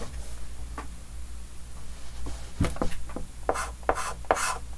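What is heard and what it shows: A white chalk stick held in the fingers scratches and rubs repeated hatching strokes across a large, flat, dark green wooden-framed chalkboard. Short, bright rasping strokes come in quick bursts over a steady low hum, growing denser and louder toward the end.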